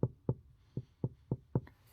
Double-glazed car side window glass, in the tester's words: listen to that. It sounds hollow.